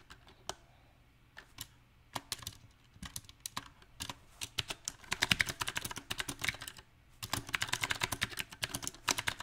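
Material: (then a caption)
Plastic. Fingertips of both hands type on a small 68-key backlit mechanical keyboard with round typewriter-style plastic keycaps on a silver metal plate. The sharp, bright clicks come at an uneven pace: sparse taps at first, then dense bursts of fast typing broken by brief pauses, with very little low end.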